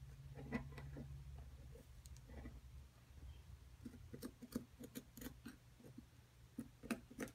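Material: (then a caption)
Plaster. A metal pick scratches and chips at the surface of a solid plaster dig-kit block, held by hand with long nails, working around the pieces embedded in it. Quiet, dry scraping alternates with short, sharp clicks and ticks in an irregular rhythm, some with a bright edge. A low hum sits underneath, strongest in the first couple of seconds.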